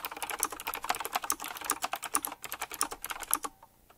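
Fingertips type quickly on a full-size typewriter-style mechanical keyboard with round black plastic keycaps, chrome-look rims and a metallic frame. About 22 rapid, crisp, bright clacks run together with no ring, and the typing stops just before the end, leaving a short quiet tail.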